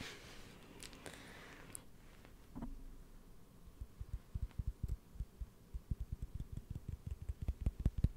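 A wooden lid is tapped in short, dull knocks that sit low in pitch and stop almost instantly. After a hushed, breathy opening, the taps start out sparse and grow into a quicker, steadier run through the second half.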